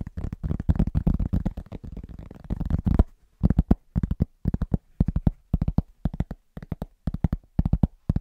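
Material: Cork.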